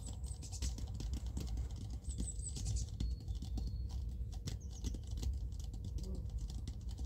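Rapid fingertip tapping with both hands on the sides of a small clear plastic jar full of white cotton pads with a pink label. A dense, steady patter of soft, muffled taps runs throughout, deep and dull with very little brightness, and each tap dies away quickly.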